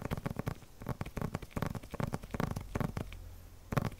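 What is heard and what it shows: Fingertips tap and scratch a flat paper package wrapped in clear plastic film, held in both hands. Quick, dull, low taps mix with soft crinkly scratching, each sound dying away at once. A brief quieter stretch comes before one last, louder tap.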